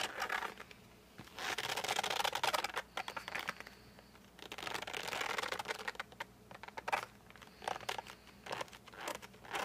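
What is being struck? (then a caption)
Flat cardboard case holding colored pencils. Fingertips with short nails grip and rub the printed cardboard front of a flat case holding 52 colored pencils, with the pencils inside and the case held at its edges. The result is bursts of dry, bright, scratchy, squeaky rubbing that come in several bouts separated by quiet pauses.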